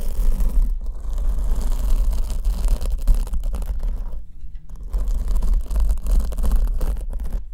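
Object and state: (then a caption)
Foam microphone windscreen being scratched. A black foam windscreen on the left microphone, held in one hand, is scratched with long almond-shaped nails. The result is a dense, continuous scratchy rustle over a heavy low rumble, dipping briefly quieter around the middle before the scratching picks up again.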